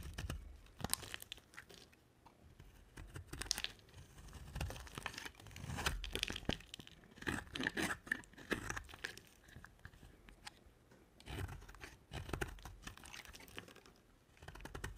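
A box-cutter blade shaves and scrapes a rectangular, solid white bar of dry soap with a black coated surface, held in a hand with long nails. Crisp, crunchy cutting strokes come in irregular bursts of dry crackle and a bright, tearing rasp. Quieter scraping pauses fill the gaps between them.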